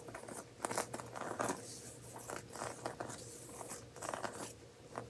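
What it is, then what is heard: Woven seagrass coaster. A round, coiled, woven seagrass coaster is held in both hands while fingertips and nails scratch and tap its woven straw surface. The result is quiet, dry scratching with clusters of brief crackly taps.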